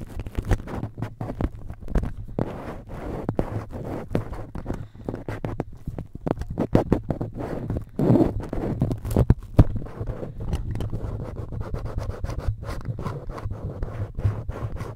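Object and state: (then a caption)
Metal mesh microphone grille being scratched. A cotton swab scratches and rubs across the red perforated metal mesh grille of a cylindrical microphone. Dense, crackling scratches and sharp little taps sound close and boomy, heavy in the low end, with an ongoing low hum running beneath the rubbing throughout.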